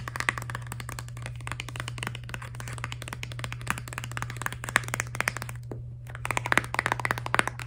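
A filled Crest Scope toothpaste tube made of soft laminated plastic is held horizontally and tapped and scratched with long nails. Rapid, dry clicks and light scratching run almost continuously, with a brief pause near the six-second mark. A steady low hum sits underneath throughout.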